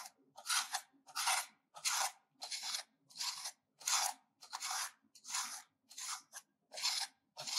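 A solid oval bar of pink soap, held in the hand, is grated with a metal hand grater in steady scraping strokes. Each stroke makes a bright, dry rasping burst, repeating at a fairly regular pace with short silent gaps between them.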